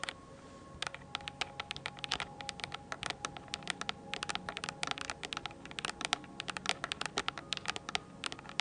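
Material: Plastic.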